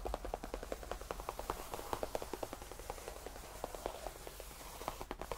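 Fingertips of both hands tap and lightly scratch a cream faux leather tufted bench. The result is a quick, continuous run of soft, muted taps with short rings, over a faint scratchy texture and a low steady hum.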